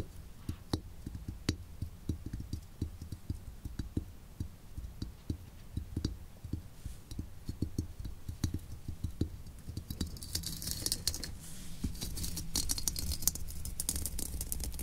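Long nails scratch and pick at the woven burlap cover of a steel helmet resting on a desk. Quiet, dense scratching and small clicks carry a low, thudding body. After about ten seconds, a brighter hiss of scraping joins in.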